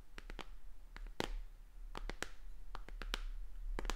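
Long dark-painted fingernails tap and scratch along the plastic edge and back of a white plastic tablet held upright. Quick, sharp, bright clicks come in irregular clusters over a steady low hum, each one dying away almost at once.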